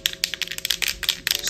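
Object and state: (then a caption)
Toy spray paint can with a rattle inside. An 8-inch vinyl toy shaped like a spray paint can is shaken, and the rattle built inside it makes a quick series of bright, clicky ticks. Around ten sharp rattles come in uneven bursts over about a second and a half. It sounds like a real spray paint can being shaken.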